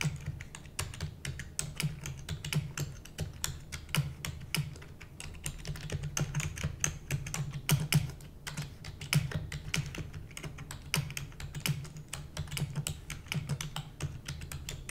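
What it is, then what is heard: Plastic computer keyboard being typed on. A full-size black plastic computer keyboard with hollow keys is typed rapidly using the long nails and fingertips of both hands. It makes a dense, continuous stream of sharp, bright clicks and clacks, each dying away almost instantly, over a steady low hum.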